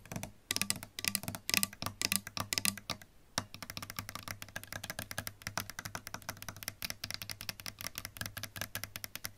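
Long pink nails tap and scratch the plastic pickguard, pickups and metal bridge area of a sunburst solid-body electric guitar with a lacquered wood body, lying flat. Rapid, dry, bright clicks come in quick flurries, with a few stronger knocks early on and a faint low tone sustaining underneath.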